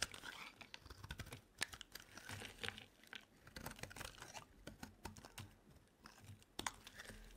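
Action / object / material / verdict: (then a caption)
scrape / bar of soap shaved with a metal blade / soap / none. A solid lilac bar soap held in the hand is shaved with a metal utility knife blade. The result is a dense run of dry, crisp scraping and crackling strokes, bright and brittle, with occasional sharper snaps as flakes break off.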